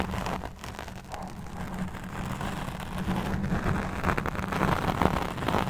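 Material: Foam.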